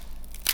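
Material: Fried dough.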